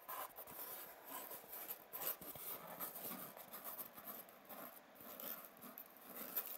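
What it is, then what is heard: Styrofoam egg carton. Fingertips and nails rub and scratch the hollow domed cups of an empty white polystyrene foam egg carton. The sound is a quiet, continuous dry scraping and squeaking with bright, hissy friction and little low end.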